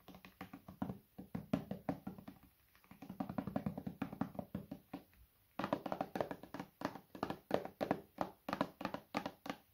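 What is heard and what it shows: A medium, hollow white plastic bottle is held sideways and tapped on its body with the fingertips. The result is rapid runs of soft, dry, hollow taps with a mid-range body and almost no ring. The taps come in three bursts, with brief quiet gaps near 2.5 and 5.5 seconds.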